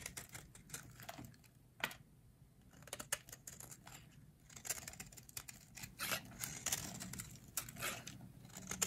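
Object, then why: Bar of soap scraped with a metal blade. A metal utility blade carves and scrapes shavings off a solid, hand-sized, teal rectangular bar of dry soap held in long-nailed hands. The sound is a quick run of crisp, dry, bright scraping crackles and clicks that stop sharply with almost no ring. Short pauses fall between the bursts of cuts.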